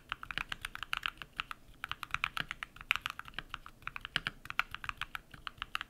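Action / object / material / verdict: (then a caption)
tap / mechanical keyboard with PBT plastic keycaps / plastic / none. Rapid typing with bare fingertips on a compact modded mechanical keyboard with lubed switches and white PBT plastic keycaps. About 42 quick, crisp key presses land in a steady, uneven stream. Each is a short, dry tap centered around 2.5 kHz with bright edges, very little low end and almost no ring.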